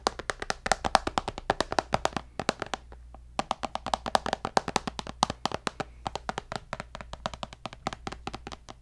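A white tablet with a glass screen in a black case is held upright and tapped on the glass with fingernails. Rapid, dry clicks with a faint ringing tone near 780 Hz come in quick bursts, pause for about a second, then resume. A steady low hum runs underneath.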